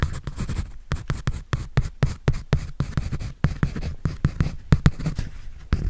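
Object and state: Pencil drawing on a paper sketch pad.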